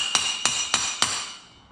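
A frozen steel carrier bearing is hammered into the carrier hub of an LTZ400, with four sharp, bright metallic taps, each ringing briefly at a high pitch. A change in the sound of the hammering shows the bearing is now fully seated in the hub.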